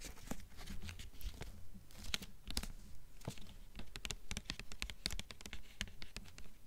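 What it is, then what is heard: Hardcover book with glossy paper dust jacket. Long fingernails on both hands tap and scratch the front cover of a blue hardcover book with a glossy paper dust jacket. The result is a steady stream of sharp, bright clicks and crinkly scraping over a low, soft rumble, with no talking.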